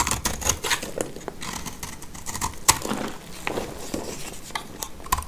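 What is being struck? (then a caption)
Bar of soap cut with a knife blade. A black utility knife blade scrapes and cuts a solid, dry blue soap bar held in the hand, whittling it down to a fragment. Crisp, dry scraping and short bright cracks come in an irregular run of quick strokes, with a few sharper snaps standing out.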